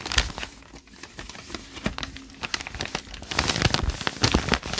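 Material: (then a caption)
Paper. Hands crumple a page of a thick open notebook with lined white paper while fingertips rub and crinkle the pages. Dense, crackling rustles and sharp crinkles come in quick bursts over a soft papery hiss, with brighter, fuller crumpling near the end.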